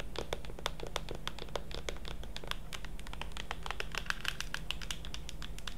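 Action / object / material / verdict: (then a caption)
tap / plastic pump bottle of lotion / plastic / none. Long acrylic nails tap and scratch along the front label of a tall blue plastic Curel lotion pump bottle, hollow and apparently filled, held in one hand. A quick, uneven stream of dry, bright clicks and short scratches runs throughout, each dying away almost instantly. A steady low hum sits underneath.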